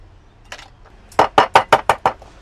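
Crab claws wrapped in a towel are knocked until the shells crack so the juices can come out during steaming. One faint knock is followed by six sharp, short cracking knocks in quick succession. The cracking means the claws are done and pounded loose.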